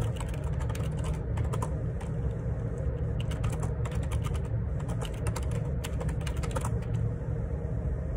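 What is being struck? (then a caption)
Plastic split keyboard with plastic keycaps. Fingertips type repeatedly on a black plastic Perixx Periboard 612 wireless Bluetooth dual ergonomic split keyboard with a hollow housing and plastic keycaps, resting on a desk. Quick, bright clicking taps patter over a steady, heavy low rumble that stays at an even level throughout.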